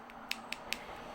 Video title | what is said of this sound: How to Sculpture Acrylic Base/Nails 2020 | you can hear this tapping that means this little guy's ready